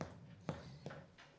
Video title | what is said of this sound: Preparing a BEAUTIFUL St. Patrick's Day Dinner! Easy Recipes - Flowers - Setting the Table | to test if it is done, we are supposed to tap it. And if it sounds hollow,